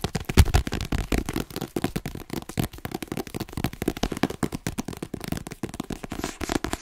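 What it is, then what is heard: Paperback book tapped with fingertips and nails. A hand-held *Inside Vogue* paperback with a glossy cover, held solid, is tapped rapidly on the cover with fingertips and nails. The result is a dense, continuous patter of short, dry taps with a soft, low thump and little brightness. Each tap dies away almost instantly, with no ring.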